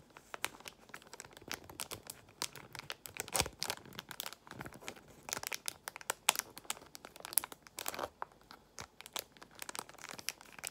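A small translucent plastic pouch holding a paper card of nail art gemstones is squeezed and crinkled with long nails. The result is a dense stream of dry, bright crinkles and sharp little crackles that rise and fall in uneven bursts, with no ring after each sound and very little low end.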